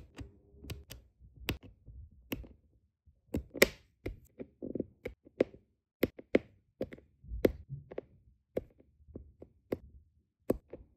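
A plastic drill pen with a metal tip taps small, solid, round resin diamond painting drills down onto a flat adhesive canvas, again and again. Each tap is a short, dry, sharp click that stops almost instantly, with no ringing. Faint soft rustling fills the gaps between the taps.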